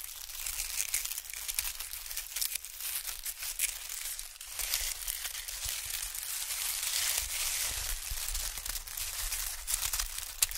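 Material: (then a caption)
Paper. A thin sheet of white expanded honeycomb packing paper is stretched and scrunched between fingers. It makes a steady, dense run of bright, dry crinkles and small crackles over nearly eleven seconds, with little low end and a slight swell in the middle.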